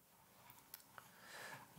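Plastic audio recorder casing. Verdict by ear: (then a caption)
Hollow. A finger taps the plastic casing of a Tascam X6 audio recorder around its rotating microphone capsules, producing four quiet, short, hollow clicks over a low background. The last tap is the loudest and has a low thud. The plastic sounds cheap and hollow.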